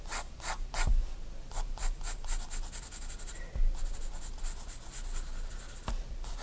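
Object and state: Pencil strokes on a paper sketchbook page.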